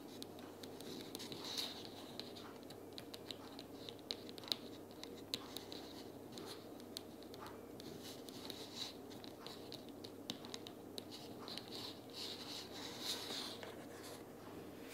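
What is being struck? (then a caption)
Small cardboard box. Long nails tap rapidly along the edges and top of a closed pink cardboard sticky-notes box lying on a table. The quiet, dry, bright clicks come in a dense, uneven patter with almost no ring, over a soft, steady background hum.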